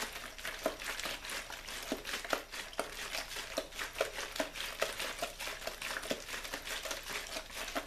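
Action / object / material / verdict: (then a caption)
shake / thin plastic water bottle / plastic / none. A small clear plastic water bottle with a blue label is held up and squeezed or shaken by hand, giving a steady, bright crinkling with irregular sharp crackles and a faint tonal tick near 566 Hz. A white controller lies unused on the wooden board nearby. The sound stays quiet and close throughout, with little low-end.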